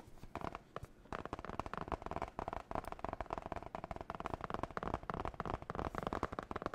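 Long nails rapidly tap and scratch the glossy blue marbled cardboard cover of a spiral-bound notebook held in the hands. The result is a dense, irregular stream of short, dry ticks and scrapes with no ring, mostly in the low and middle range.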